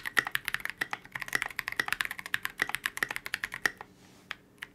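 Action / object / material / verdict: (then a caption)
tap / polycarbonate mechanical keyboard with tall plastic keycaps / polycarbonate / none. A KBD67 Lite mechanical keyboard with a transparent polycarbonate case, C³ x TKC Kiwi switches and Oblotzky SA Oblivion V2 keycaps is typed on continuously with the fingertips of both hands. About 29 crisp, bright clacks in a quick, uneven rhythm each snap off almost instantly, centred near 1.9 kHz with very little low end. The typing stops near the end, leaving a brief hush broken by two more keystrokes.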